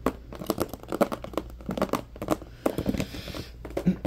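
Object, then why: Clear plastic compartment organizer box. A medium-size, hollow, empty transparent plastic compartment organizer box is tapped and scratched with fingertips and nails. The result is a quick, uneven run of dry, hollow clicks and taps with crinkly scratching in between, mid-pitched with no ring. A brief brighter scraping hiss comes partway through.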